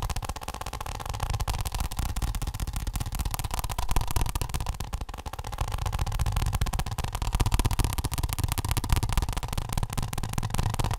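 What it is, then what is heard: Plastic office block, tapped. A flat, rigid, glossy orange plastic office block, hand-sized and likely hollow, is held in one hand and tapped quickly with the fingertips and short nails of the other. The result is a dense, continuous stream of fast, dry taps, about four per second, with a heavy low thump, a hollow midrange knock and a faint clicky edge. The level stays fairly steady with a brief dip around the middle.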